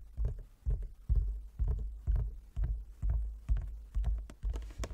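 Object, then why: Wooden chess board. Long nails and fingertips tap the surface of a large, flat wooden chess board with light and dark inlaid squares lying on a table. The result is a steady, slightly uneven series of soft, low, hollow knocks, about two per second, each dying away quickly, with faint bright clicks from the nails.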